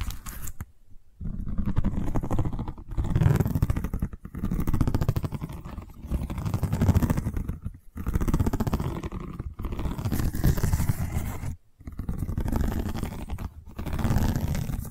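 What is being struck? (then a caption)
Woven seagrass tube. Long nails scratch along a long cylindrical tube of woven seagrass covered in straw weave, held at an angle in one hand. Dense, low rasping scrapes come in repeated bursts separated by brief silent pauses, with the sound concentrated in the low range and little high-end brightness.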